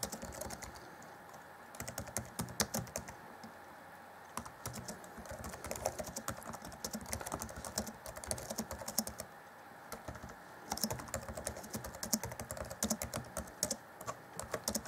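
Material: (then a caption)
Plastic. Fingertips of both hands type rapidly on the black plastic chiclet keys of an Acer Chromebook C20 (2014) laptop keyboard set in a grey deck. The result is a steady stream of quick, dry clicks and taps with almost no ring, broken by short quieter pauses.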